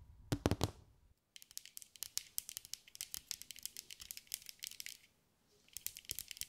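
A hand-sized ball covered in small green mirror and glass mosaic pieces, possibly hollow, is held in both hands and tapped and scratched with long gray acrylic nails. A few louder taps with a low thump open the clip, then after a short gap come rapid, bright, dry clicks and scratchy ticks with almost no ring. They pause briefly near the end before resuming.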